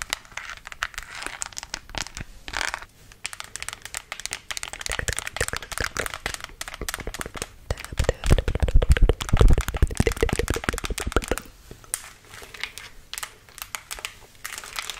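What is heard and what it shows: Long acrylic nails tap and scratch the face and back of a life-size, apparently hollow, black glossy plastic mannequin head held in both hands. Rapid, irregular clicking taps mix with crinkly scratching throughout, building to a denser, louder stretch between about 8 and 11 seconds before easing back to lighter tapping.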